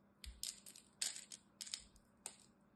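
A small knife blade carves and scrapes crumbly pieces off the corner and face of a solid green bar of dry soap held in the hand. Eight short, crisp, crunchy scrapes sound out, bright and mostly high-pitched with almost no low end, each dying away quickly against a quiet background.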